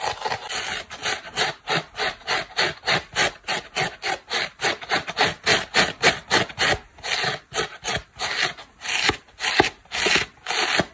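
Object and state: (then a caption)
Foam kitchen sponge scratched with fingernails. Long black nails and fingertips scratch and rub the porous turquoise foam side of a dry oval polyurethane foam kitchen sponge held in one hand. About thirty-two rapid, bright, rasping strokes follow each other in a steady back-and-forth rhythm, each a short airy scrape with almost no low end.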